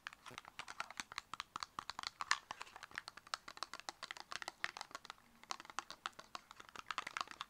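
Long acrylic nails tap quickly on the faces of a small, closed, purple square cardboard cosmetic box. The result is a rapid, uneven stream of dry, clicky taps with a bright, papery edge. Each tap dies almost instantly, and there is no low end.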